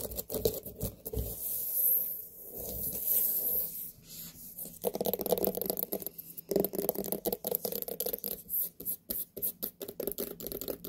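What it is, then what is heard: Large white pumpkin. Long nails scratch and tap on the rind of a large, whole, hollow white pumpkin as it is turned to show its base. Soft raspy scraping strokes give way to a rapid run of short, dry taps with a hollow midrange knock and very little ring.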